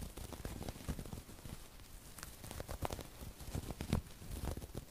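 A small stuffed cushion covered in burlap-like woven fabric with an appliqué fox face is scratched with long acrylic nails. The result is a low, dry, crackly rustle of repeated scratches with a few sharper ticks in between.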